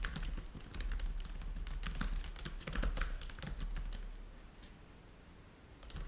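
Fingertips of both hands type steadily across a black laptop keyboard with plastic keys, producing a run of quick, bright clicks over a low, steady hum. The typing eases and grows quieter toward the end, then a few clicks pick up again in the last moment.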